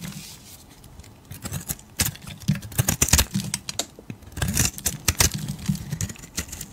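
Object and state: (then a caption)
Soap bar being carved. A solid beige, palm-sized oval soap bar, held in a hand with long nails, is scraped with a metal utility blade. After a quiet start, a rapid series of short, crisp scraping strokes comes through as bright, hissy bursts with soft low thuds underneath.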